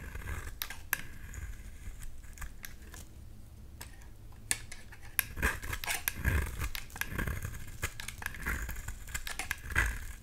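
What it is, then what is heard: Bar soap being shaved. A blade scrapes thin shavings off the surface of a solid dark green bar of soap. It makes a steady run of short, crisp, bright scraping strokes over a low background rumble, with a few sharper snaps standing out.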